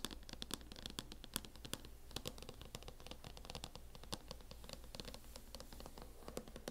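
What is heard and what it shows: Long nails scratch and tap the lid of a closed MacBook in a teal matte plastic hard-shell case. The result is a quiet, rapid run of sharp, dry clicks and bright scratches with no ring, over a low steady hum.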